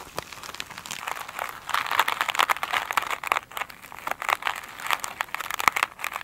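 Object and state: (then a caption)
Glitter mesh sponge. Long nails scratch and tap a foam sponge covered in glitter mesh, first held in the hand and then lying on a table. The result is a dense run of dry, crinkly scratches and quick taps, bright and papery with almost no low end, swelling louder in bursts before easing off.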